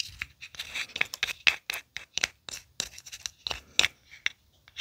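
A small, empty, hollow aluminium tealight cup held in one hand is scratched and scraped with the tip of a thin wooden orange stick. The result is a quick series of bright, dry, scratchy strokes with almost no low end and barely any ring after each one.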